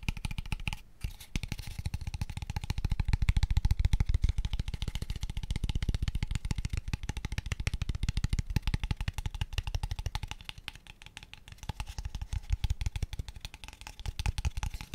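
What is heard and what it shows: A small, empty, hollow, pale wooden square tube box is tapped quickly with fingertips and nails. The result is a dense, irregular stream of short, dull, hollow knocks that are mostly low in tone and stop without any ring. There is a brief gap near the first second, and the tapping softens around ten to twelve seconds before picking up again.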